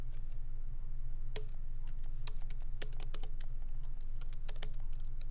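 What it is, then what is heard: Laptop keyboard with plastic keys. Both hands tap continuously with their fingertips on a MacBook Pro keyboard, whose low-profile plastic keys sit in a solid aluminum body. Quick, bright, irregular key clicks ride over a steady low hum that lasts throughout.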